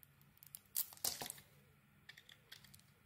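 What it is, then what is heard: Bar of soap being shaved. A metal blade shaves the glitter coating and body off a solid green bar of soap. It makes bright, crisp scraping strokes, two louder rasping passes near the start, then fainter light scrapes and ticks against a quiet background.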